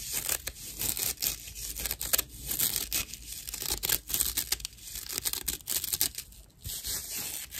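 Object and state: Natural loofah sponge.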